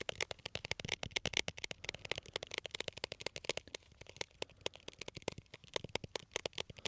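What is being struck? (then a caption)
Small glass jar of candies. A small labeled glass jar full of colorful candies, held close to the mic, is tapped and scratched rapidly with fingernails. The result is a quick, steady run of sharp, dry clicks with almost no ring, bright and centered around 2 kHz, over faint scratchy texture.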